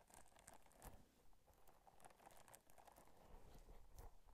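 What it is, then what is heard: Silicone scrubber scratched and tapped. Long nails scratch and tap the bumpy surface of a small pink textured silicone or rubber scrubber held up beside a microphone. The result is a quiet, steady stream of soft scratching with irregular crisp taps and bright ticks over a low, muffled rumble.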